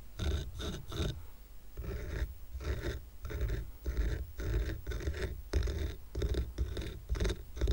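Medium-length fingernails on several fingers scratch across the top of a small square stack of solid painted wooden coasters decorated with a red heart. The result is a quick run of dry, rhythmic scratching strokes that sound dull and low-heavy, with little brightness and almost no ring after each stroke.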